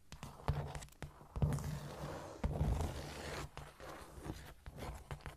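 Long nails scratch and tap across a flat, solid cork floor. Soft, dull, low-heavy taps land in quick irregular bursts with brief scraping rasps between them, and each tap dies away almost at once.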